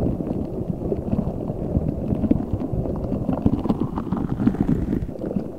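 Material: Rubber.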